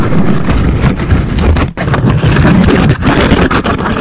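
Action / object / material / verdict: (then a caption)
scrape / pleated paper cupcake liner / paper / none. A thin, hollow brown pleated paper cupcake case stretched over a microphone's foam cover is scratched along its pleats and tapped with long acrylic nails, with lips kept closed. The result is a loud, dense, continuous crackling rustle with a heavy, muffled low end and brief dips between strokes.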